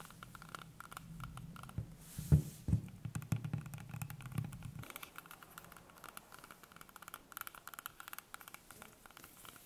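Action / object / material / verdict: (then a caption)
tap / whole green apple / fruit / none. A whole, small, solid green apple is held in the hands above a wooden table while long painted nails tap and scratch its skin. Soft, dull, low taps with a few louder knocks fill the first half, then give way to lighter, irregular scratchy ticks that stay quiet and close.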